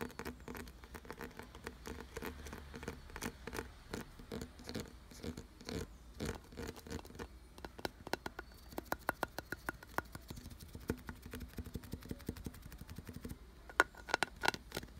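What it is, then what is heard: Carved wooden object. Fingernails scratch and tap quickly over the ridged grooves of a solid, glossy brown carved wooden piece. The result is a dense, dry patter of short, clicky strikes with almost no ring. Toward the end, a few sharper taps stand out with a faint tone near 1.4 kHz.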